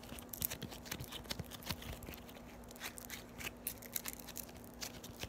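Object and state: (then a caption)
Foam-bead slime (floam) crunching. Yellow floam, foam beads in slime, is rolled, folded and pressed by fingers with long nails, giving a stream of quiet, irregular crisp crunches and crackles. The pops are bright and sharp with a steady low hum underneath.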